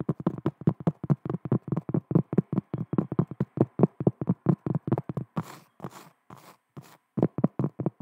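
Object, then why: Cork trivet. Long nails tap rapidly on a large, round, flat cork trivet held close to the mic, making a steady run of dull, low, woody knocks. Midway the nails scratch across the cork in a few breathy, bright rasps, then the quick tapping resumes.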